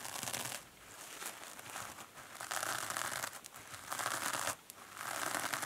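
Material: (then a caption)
Foam, metal. Long manicured nails scratch and squeeze both sides of a hand-sized, two-sided kitchen sponge that is solid and porous, with green polyurethane foam on one side and a glittery silver metallic scouring pad on the other. Bright, crinkly scratching and crackling come in dense waves, separated by brief quieter dips, with almost no low end.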